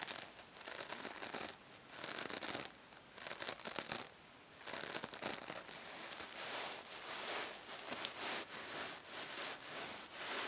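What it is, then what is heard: Metallic mesh scrub sponge. Long painted nails scratch a small, hand-held rectangular kitchen sponge covered in silver metallic plastic mesh over soft foam, and fingers squeeze it. The result is a run of bright, crinkling, rasping bursts with short pauses between them, almost no low end, and a dry, quick-fading texture.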